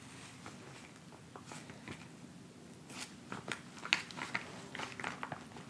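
A filled, flat white plastic instant cold pack pouch lying on a fabric surface is scratched and pressed with the fingertips and nails of both hands. Soft, crinkly scratching gives way to irregular, crisp, bright clicks and crackles that grow louder and sharper in the second half. Each sound stops short with almost no ring.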